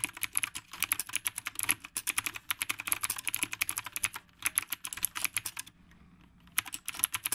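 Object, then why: Mechanical keyboard with round plastic keycaps. Fast fingertip typing with both hands on a retro typewriter-style mechanical keyboard with round plastic keycaps produces a dense stream of short, bright, clicky keystrokes. The typing breaks for a brief pause near the end before quickly resuming.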